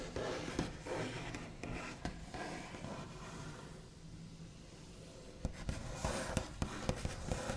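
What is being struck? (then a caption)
Wooden tabletop. Both hands scratch, tap and trace with the backs of the fingernails across a large, flat, solid wooden tabletop with a smooth white finish. Quiet, dry scraping rustles blend with soft, low knocks, then sharper, brighter taps come through near the end.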